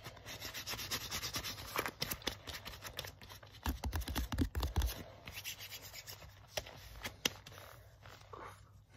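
Fingers rub and scratch the sleeve of a worn black leather jacket, with a brief rub on the front panel. The result is a dense, uneven run of dry, bright scraping and rustling strokes, some sharper scratches cracking through, over a soft low rumble.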